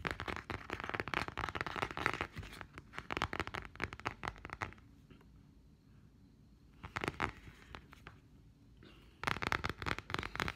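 Long painted nails rapidly tap and scratch the perforated, dot-textured back of a pink-brown plastic smartphone case, with the phone held in both hands close up. Dense, crackly clicking and scraping fill the first five seconds, then quiet with a short burst near seven seconds, and the tapping picks back up at the end.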